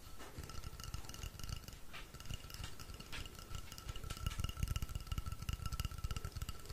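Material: Wood.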